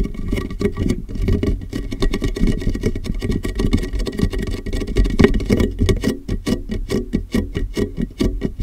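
A large, clear, hollow and empty plastic water jug with a molded handle sits upside down over a microphone while fingertips tap rapidly on its sides. The result is a dense, continuous patter of muffled, boomy taps, heavy in the lows with a hollow resonance around 400 Hz. Each tap dies away almost at once.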